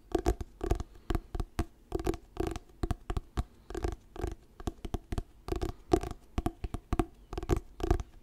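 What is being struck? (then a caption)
Paperback book with glossy paper cover. Fingertips tap and scratch the glossy paper cover of a solid orange "Diary of a Wimpy Kid" paperback book held close to the mic. The result is a steady run of short, dull, close-up taps, each dying away almost at once, with soft scratchy rustling between them. The sound is weighted toward the low end, with almost no bright top.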